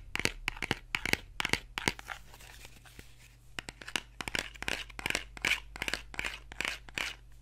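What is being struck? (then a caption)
Small cardboard box. A small, hollow printed cardboard box is held in one hand while fingernails tap and scratch its surfaces. Quick, dry, bright taps come in irregular bursts, with a softer stretch of papery scratching in the middle. Each tap dies away almost instantly.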